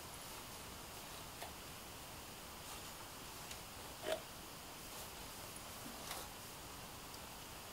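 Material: Nothing is struck.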